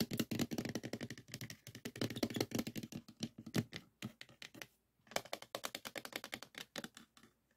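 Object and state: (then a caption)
Plastic floppy disk case tapped. Fingertips and nails tap quickly on the top green disk and on a small clear plastic case full of stacked 3.5-inch floppy disks. The result is a rapid run of dry, clicky plastic taps with very short decay and a brief pause partway through before the tapping resumes.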